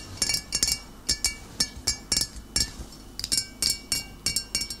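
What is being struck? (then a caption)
Glass bottle. Fingernails tap a glass bottle in a quick, uneven series of strong, bright clinks. Each tap has a short high ring that fades quickly over a faint low background.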